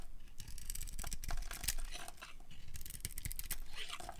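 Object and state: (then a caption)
Dry soap bar being carved. A solid rectangular bar of dry pinkish soap, decorated with red and green glitter and held in the hand, is carved with a metal utility blade that peels off thick curls. The blade makes a run of dry, crisp scraping and crackling cuts with bright edges over a low, soft rumble, at a quiet, steady level with no ring after each stroke.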